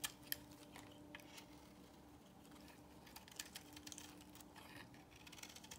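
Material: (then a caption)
Soap. A solid beige bar of soap held in the hand is shaved with a box cutter blade. The result is a quiet run of short, crisp, bright scraping ticks over a faint steady low hum.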